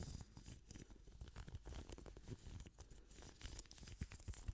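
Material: Plastic.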